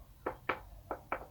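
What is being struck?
Metal faceplate of a replica championship belt.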